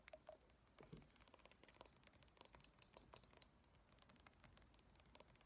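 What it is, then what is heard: Small glass jar tapped and scratched with nails. Long painted nails tap and scratch on a small clear glass jar with a lid and a pale filling inside, held in both hands. A quiet, rapid run of sharp, bright glassy clicks and short scraping strokes continues throughout, with a faint high whine in the background. Each tap dies away almost instantly.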